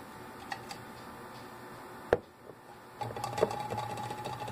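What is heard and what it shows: Fingernails tap and scratch the sides of a tall Glade aerosol can, a hollow metal body with a plastic cap, standing on a table. A few light taps and one sharp, louder tap ring briefly, then steady scratching sets in with a faint metallic ring and brighter taps on top.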